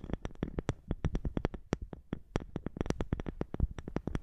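Long nails tap and scratch the top of a round, dark wooden lidded box, likely hollow, held close to the microphone. About thirty quick, dry taps come in an uneven rhythm, each a soft low knock with a faint clicky edge and almost no ring.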